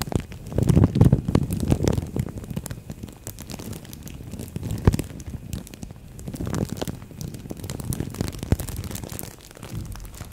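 A thin green-and-white printed plastic bag wrapped around a microphone head is crinkled and scratched with long nails and fingertips. The result is a dense stream of crackling, crunching rustles that are heavy and muffled in the low end. The rustling swells loudest in the first two seconds, then continues in softer, irregular waves.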